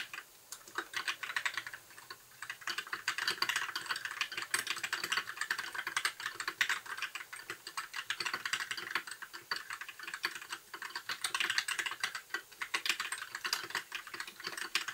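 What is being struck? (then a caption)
Plastic mechanical keyboard. Continuous typing with the fingertips of both hands on a compact white 60% mechanical keyboard with plastic keycaps and RGB backlight. Dense, rapid, short plastic clacks are bright and crisp, with almost no low end and each click dying away instantly. The typing flows steadily with brief lulls in between.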